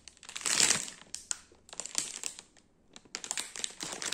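A large, soft but solid round lemon ring cake (ciambella) sealed in a clear plastic bag is held, scratched and tapped with fingertips and nails. This produces bright, crisp crinkling and sharp ticking taps in three bursts, with the loudest rustle near the start and a quiet gap before the last burst.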